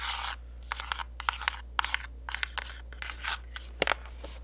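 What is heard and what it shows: Long nails tap and scratch the sides and back of a pink printed cardboard gift box. Crisp, sharp clicks and bright scraping rustles sound in quick succession, with short dry hits that stop almost at once over a faint low hum.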